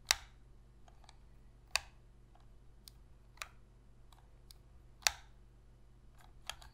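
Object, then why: Plastic game controller shell. Long fingernails tap and scratch the back of a black PS3 controller's hollow plastic shell, held edge-on in both hands. Five sharp, dry, high-pitched clicks stand out at irregular intervals, with fainter scratchy ticks between them over a low, steady hum.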